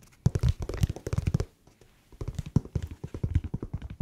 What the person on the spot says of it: 얼핏 들으면 약간 가죽 태핑하는 소리처럼 들려요